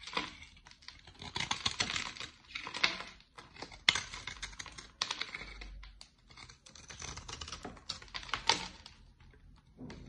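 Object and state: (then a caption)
Bar of soap being shaved. A utility-knife blade shaves curly flakes from a solid, dry, dark olive-brown bar of soap with an embossed logo, held by long nails. Dense, crisp scraping and cutting sounds come in bright, rapid bursts of clustered clicks, separated by brief quiet pauses, with almost no low end and no ring after each stroke.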